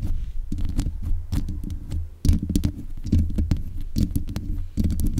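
Long nails scratch and tap the metal mesh grille on the head of a black USB condenser microphone. The result is a dense run of muffled, boomy thumps and rubbing scrapes, heavy in the low end, with short bright clicks and brief pauses between bursts.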